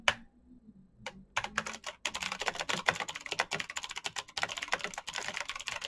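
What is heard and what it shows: Fingertips type on a black Razer BlackWidow mechanical keyboard with plastic keycaps on clicky green switches. A few scattered keystrokes open the clip, then from about two seconds fast, steady typing fills the rest with bright, sharp clicks that stop almost instantly.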